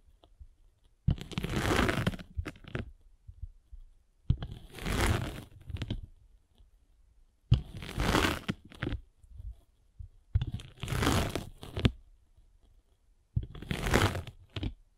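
A metal-spiked derma roller is rolled across the top face of a solid abrasive foam sanding sponge block held in the hand. It makes five separate crunchy, scratchy passes, each starting with a sharp onset and lasting about a second, with a deep low rumble beneath the texture. Short quiet gaps fall between the passes.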